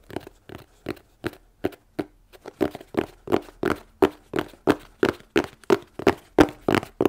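A plain, hollow, closed corrugated cardboard shipping box is held in both hands and tapped with long nails. A steady series of short, dry, hollow knocks sounds, each with a low-mid body around 300 Hz and almost no ring. The taps come quicker and a little louder toward the end.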